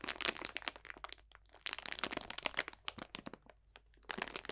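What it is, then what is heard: Bag of dried potpourri crunched. A clear cellophane bag full of dried potpourri botanicals is squeezed and crunched with both hands. It gives dense bursts of bright, sharp crackling and crinkling, with very little low end. The crackles ease off into a quieter stretch before a final flurry.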